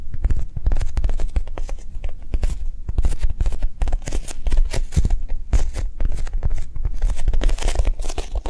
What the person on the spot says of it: 03:38 Japanese cheesecake squishy